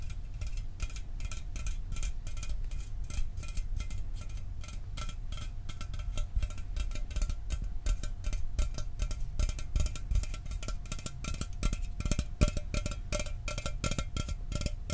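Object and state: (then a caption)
Aluminum soda can tapped. A standard hollow Mountain Dew aluminum soda can, held in one hand, is tapped rapidly with fingertips and nails close to the microphone. The result is a dense, steady stream of short, dull thuds heavy in low end, each dying almost instantly, with sharp bright clicks from the nails on top.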